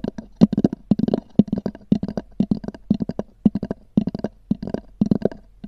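Long nails rapidly tap and scratch on a small, hollow, black oval hard-shell EVA zip case with a textured cover. The result is quick clusters of dry, hollow knocks with a low body and a short scratchy rasp. Each hit dies away almost at once.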